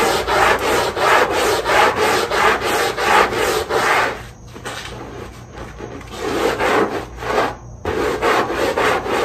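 A long-handled push brush scrubs the wet, foamy underside of a small rug with a dotted rubber backing. Rhythmic back-and-forth strokes make a dry, raspy rubbing sound, easing off into quieter, softer scrubbing midway before the strong strokes return.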